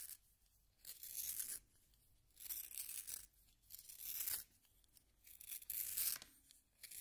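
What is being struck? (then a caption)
Wooden pencil in a plastic hand sharpener. A solid yellow wooden pencil is turned in a small pink plastic hand sharpener, its blade shaving the wood. Soft, bright, dry scraping comes in repeated bursts of about a second each, separated by brief near-silent pauses.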